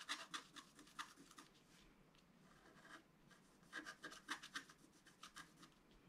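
A wooden stylus scratches continuously across the coating of a flat black-coated scratch art card, about A4 size, lying on a table. Quick, bright, dry scraping strokes come in clusters, with a softer, quieter stretch of rubbing in the middle before the sharper strokes return.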